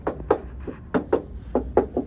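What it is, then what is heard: Car body sill repaired with metal, not filler. A series of short, mid-pitched taps on the welded steel rocker sill of a 1968 MGB roadster, on the first side, whose rusted sills were repaired about 20 years ago. Each knock is dull and dies away almost at once over a low background hum. The tapping shows the repair is solid metal rather than filler, though the extent of the metalwork can't be told.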